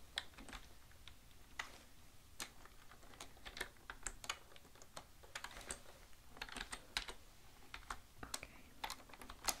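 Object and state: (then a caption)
Plastic computer keyboard. Both hands type with their fingertips on a full-size black plastic computer keyboard lying flat on a desk. A steady, uneven stream of sharp, bright key clicks and presses continues throughout, each tap dying away almost instantly over a faint low background.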